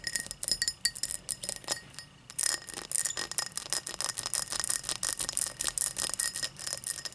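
Long matte black nails tap and scratch the faceted surface of an empty, hollow, tall cut crystal glass tumbler lying on its side on a towel. Dozens of quick, bright glassy clicks and scrapes with a faint high ring come in a steady stream, with a brief lull around the two-second mark. Each tap dies away almost instantly.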